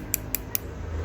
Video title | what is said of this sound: HOW TO MAKE ACRYLIC NAILS {easy/fast} *2020 | When you hear that clicky sound, it means that it's hard.